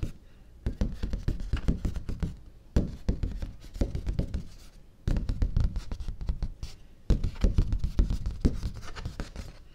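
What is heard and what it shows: Fingertips and nails tap and scratch the flat surface of a large, thin, stiff white cardstock sheet held upright in one hand. Rapid, dry, muffled taps and rustling scrapes come in four dense bursts with short pauses between them. The sound is low and papery with very little brightness.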